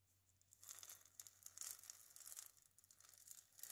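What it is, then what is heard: Dried gourd maraca scratched and tapped. A single dried gourd maraca, held in the hands, has its hollow body scratched and tapped by long nails. The result is a quiet run of bright, dry scratching and crisp taps, with energy almost entirely high. After a faint, near-silent start, it picks up at about half a second and continues in uneven bursts.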